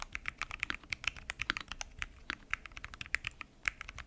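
Fingertips type continuously on a full-size mechanical keyboard with pink and mint PBT keycaps, lubed switches, and a transparent acrylic case. About thirty short, bright, crisp clacks follow in a steady, uneven rhythm. Each one dies away almost instantly, with very little low-end thump.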